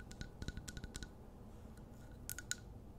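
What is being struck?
Wax-filled glass candle jar.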